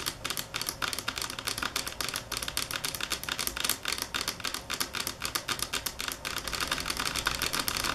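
Long fingernails tap on a marble table top, varying in speed and force, making a stream of sharp, bright clicks with very short decay. The taps run in quick, irregular clusters with little low-frequency body.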